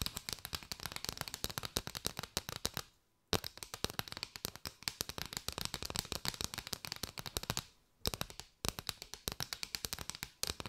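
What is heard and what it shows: Long white nails tap and scratch rapidly along a curved bundle of many striped paper drinking straws, hollow tubes bound together. The result is a dense stream of dry, bright clicking with a crackly texture and very short decay, broken by two brief pauses around 3 and 8 seconds.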